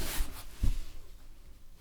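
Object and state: Nothing is struck.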